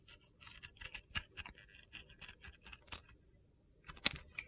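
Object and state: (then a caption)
Glitter-coated soap bar being carved. A metal box-cutter blade carves into a solid white soap bar with a blue glitter coating and a stamped "SOAP" label, held in the hand, shaving off dry, crunchy flakes. The result is a series of quiet, bright, gritty scrapes and crackles with almost no low end, a brief pause just after three seconds, and a sharper, louder cut near the end.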